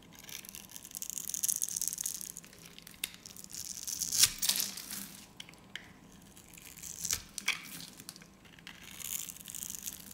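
A solid, hand-sized green soap bar, its end pre-scored into a grid, is held in both hands and sliced into crumbly cubes with a metal utility blade. Bright, dry crunching and scraping comes in uneven bursts of crackly rasps and sharp snaps, almost all of it high-pitched with very little low end.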